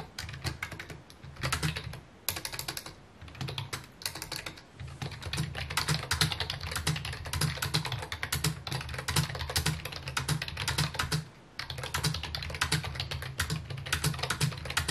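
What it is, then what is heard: Plastic computer keyboard being typed on. Fingertips type rapidly on a full-size white and mint plastic computer keyboard with a hollow housing, resting on a wooden desk. Dense, bright clicking taps ride over a low hollow thump. The typing runs in steady bursts, with brief pauses near 3, 4.5 and 11.5 seconds.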